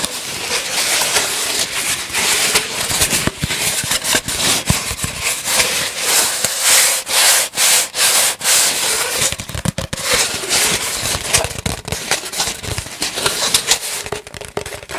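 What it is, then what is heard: Cardboard tube being scratched. Fingers rub and scratch along the length of an empty, hollow brown cardboard tube held in both hands. The result is a steady, bright, scratchy friction noise with a faint hollow resonance underneath, rising and falling in quick, uneven strokes.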